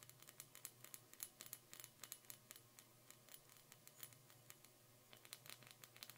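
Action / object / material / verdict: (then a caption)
tap / glass Christmas ornament ball / glass / none. Long painted nails tap and glide over a small, hollow, empty clear glass Christmas ornament ball with a metal cap, held in both hands. Quiet, rapid, bright clicks and ticks come in uneven bursts, with soft scratchy glides between them. Each tap dies almost instantly over a faint low hum.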